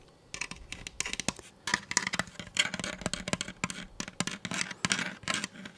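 Fingertips rub and scratch the textured side of a hollow blue and orange plastic Nerf toy blaster held upright. Rapid, dry, bright scratching and tapping bursts come in quick irregular clusters with no ringing, over a faint quiet background.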